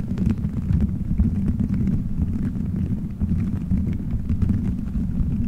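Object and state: Gummy bears on a microphone.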